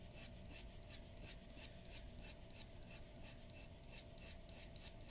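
The nib of a glass dip pen scratches quick hatching strokes across a large flat sheet of white drawing paper resting on a wooden table. Rapid, bright, raspy scratches pulse in short bursts over a steady low, quiet background.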